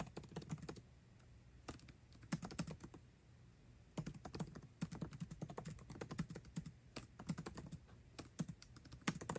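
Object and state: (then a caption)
Laptop keyboard with plastic keys in an aluminium body. Fingertips type fast on a MacBook Pro keyboard with plastic keycaps set in an aluminum body. Bursts of quick, dry key clicks with a low, soft thump come in rapid flurries, broken by short pauses around the 1-second and 3-second marks. Each click dies away almost instantly.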